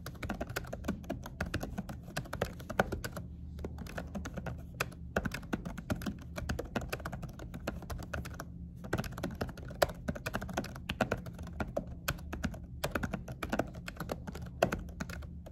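Fast two-handed fingertip typing on a laptop keyboard fitted with a dark silicone cover, with short nails tapping the key presses. The clicks come as dense, short, muffled thuds with little high-end brightness over a steady low hum, pausing briefly near 3.5 and 8.7 seconds.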